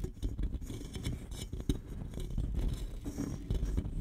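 Fingernails scratch and tap the side of a single red Shasta cola aluminum can, hollow and held horizontally against the microphone. The result is a dense run of close, scratchy taps and scrapes with a heavy low thud and brief bright flecks. Each tap dies away almost instantly with no ringing.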